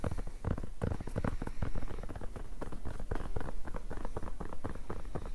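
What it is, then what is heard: Rubber-backed fabric mousepad. A black rubber-backed mousepad with a cloth top is rolled and folded in the hands while fingertips and nails scratch and tap its fabric surface. The result is a steady, dense patter of soft, dull taps and scratchy rustles that sit mostly in the low end, with short, quickly fading hits.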